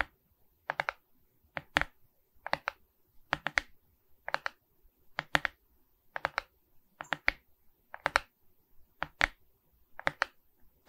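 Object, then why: Resin rhinestone diamond painting on a wooden-framed canvas. Long red nails scratch across a Mickey Mouse diamond painting made of resin rhinestone beads on a wooden-framed canvas held upright. Quick, dry, bright clicks come in short clusters of two or three, with brief pauses between them, over about eleven seconds. Each click stops almost instantly, with no ring after it.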